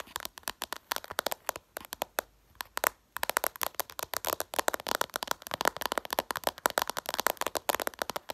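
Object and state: Glass smartphone screen.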